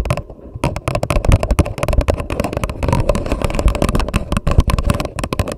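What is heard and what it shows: Long nails on both hands rapidly tap and scratch the paper wall of an empty, hollow grey paper coffee cup turned upside down over a microphone. The result is a dense, continuous patter of sharp clicks over a deep, hollow, boomy thump, with brief bright scratchy textures between taps.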